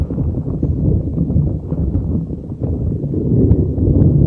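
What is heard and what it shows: A neon green soft rubber spiky puffer ball is rubbed and squeezed with fingers over a microphone. It makes a dense, low, muffled rumble of rustling and squishing with scattered soft pops. The sound stays steady throughout and has no bright content.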